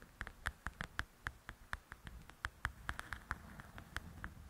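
Long acrylic nails tap with their tips and scratch across the glossy cover of a large, flat, solid paperback coloring book. The result is a quick, uneven run of short, dry clicks with a bright edge, each dying away almost instantly. A faint rustling scratch sits underneath them.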